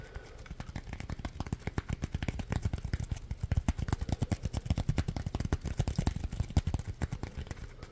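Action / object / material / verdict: scrape / polymer foam sponge / polymer foam / none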